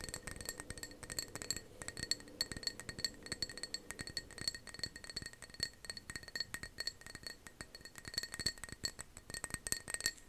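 Fingernails tap rapidly on the sides and base of a matte navy ceramic mug, hollow and apparently empty, held in both hands. The quick, dense clinks are bright, with a high ringing tone that dies away almost instantly after each tap.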